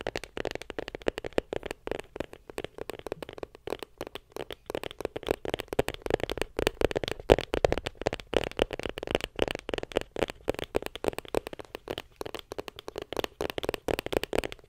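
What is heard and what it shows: Long pink acrylic nails rapidly tap a closed, small white printed cardboard iPhone 7 Plus box held in front of a microphone. The result is a steady stream of dry, hollow clicks with a mid-range body around 465 Hz and almost no ring. The tapping swells in intensity toward the middle of the clip.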